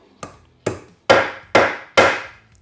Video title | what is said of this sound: You've Never Seen Woodworking Joinery Like This... | drive it home it should bottom out you'll hear it that solid sound